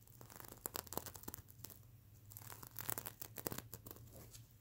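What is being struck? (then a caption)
Sequin-covered fabric pillow. Fingernails scratch and brush across the plastic sequins of a soft, sequin-covered mermaid unicorn pillow. Quick, crisp clicking scrapes and bright rustling crinkles rise in bursts over a steady low hum. The strokes are dry and short, with no ringing after each one.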